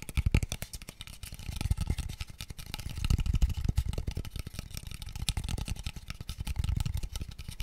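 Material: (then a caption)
Wood. A small, empty, open-ended, pale wooden square tube box is tapped rapidly with fingertips. The result is a fast, dense stream of short, dull, hollow knocks, low and boomy with very little brightness. Each tap dies away almost instantly.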